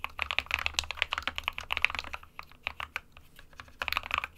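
Fingertips of both hands type quickly on an SK61 compact 60% plastic mechanical keyboard with white and grey keycaps. The bright, sharp clacks are very short and die away at once. Dense bursts at the start and end frame a sparser stretch of slower keystrokes in the middle.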